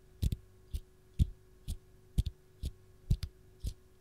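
Long gold nails tap and scratch the dimpled peel of a single whole raw lemon held in the hand. Soft, dull taps land about every half second, some in quick doubles, each with a faint bright click on top. A steady low hum runs underneath.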